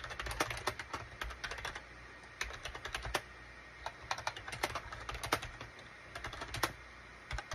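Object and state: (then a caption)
Plastic computer keyboard being typed on. Fingertips of both hands type rapidly on a gray SHIPADOO K600, a full-size wired USB keyboard with a gray plastic case and cream, gray and orange plastic keycaps. Bursts of quick, sharp plastic key clicks with very short decay alternate with brief pauses over a faint low hum.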